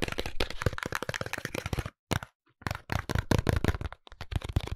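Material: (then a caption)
Cardboard. A small pink cardboard soap box is rotated between the hands while fingertips and nails tap and scratch its sides and barcode face. Dense bursts of short, dry crackling taps and scrapes come with brief pauses, mostly low and papery with quick-dying hits.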